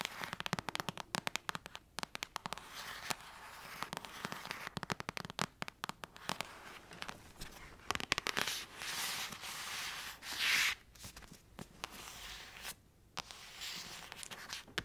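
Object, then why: Paperback book with glossy card cover. Long acrylic nails tap and scratch the glossy card cover of a thick paperback novel. Rapid, sharp, bright clicks crackle in dense bursts, broken by short swelling scratches and brief pauses.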